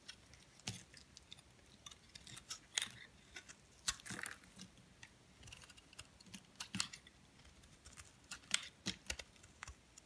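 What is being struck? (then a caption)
Bar of soap. A metal blade scrapes flakes off the top of a solid white soap bar held upright in the hand. Quiet, bright, crisp scratches and crackles come in irregular bursts with sharp, dry clicks that die away almost instantly, over a faint hiss. There is little low end.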